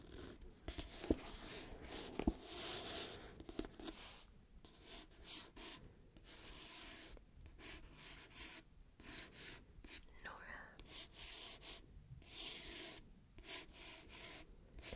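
Fingertips and nails tap and rub across the glossy paper cover of a solid paperback novel held up close to the mic. Soft, broadband scratchy rubbing and swishing continue throughout, broken by a few sharp, brief taps early on, all at a quiet level.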